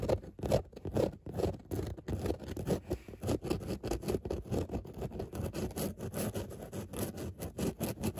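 Long nails scratch back and forth across a padded grey fabric car seat with raised embossed dots. The result is a dense run of soft, rapid, uneven scraping strokes with a dull, low-mid texture and almost no brightness.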